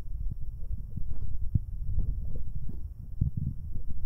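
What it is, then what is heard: Metal microphone capsule rubbed with finger cots. Two fingers in rubber finger cots rub the left capsule of a pair of metal binaural microphone capsules. The result is a dense run of deep, muffled thumps and scuffing rumbles, almost entirely low-pitched with no bright content. Short bursts come and go over a steady low rustle.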